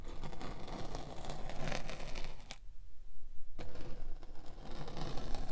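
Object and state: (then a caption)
Kinetic sand scraped with a spiked wheel. A metal spiked pinwheel is rolled repeatedly over the top of a solid pink kinetic sand slab, scraping and pricking the sand. A dense, gritty crackle of tiny pricks rides over a heavy low rumble. It drops out briefly around the middle, then resumes just as busy.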